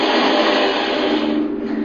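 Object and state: Nothing is struck.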